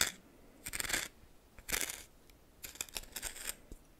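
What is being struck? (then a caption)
Coarse salt in a small bowl stirred with a plastic spoon. A red plastic spoon stirs coarse salt in a small bowl held by hand. Bursts of bright, gritty crunching and scraping come in uneven waves, separated by quiet pauses.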